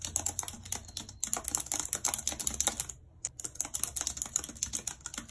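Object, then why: Plastic computer keyboard. Long red nails type rapidly on a white plastic computer keyboard, making dense, bright clicking on the plastic keys. The clicks are crisp and short, with one brief pause near the three-second mark before the typing resumes.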